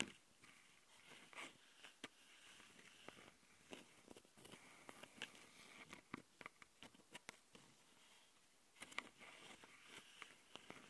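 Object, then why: Plastic handheld audio recorder with metal-mesh microphone grilles. Long nails on both hands scratch the metal-mesh mic capsule grilles of a small plastic handheld Tascam audio recorder. Quiet, bright scratching and rustling is broken by many sharp, dry ticks and clicks that stop instantly with no ring. There is almost no low end, and a denser burst of scratches comes near the end.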